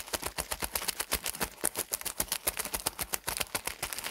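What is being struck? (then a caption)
Pack of hygiene pads in thin plastic film. A full, soft rectangular pack of hygiene pads wrapped in thin printed plastic film is squeezed and crumpled with the fingertips of both hands. It gives a rapid, uneven run of bright, dry crinkles that stop short with no ring.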